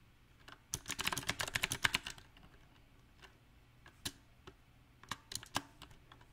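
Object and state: Mechanical keyboard with plastic keycaps.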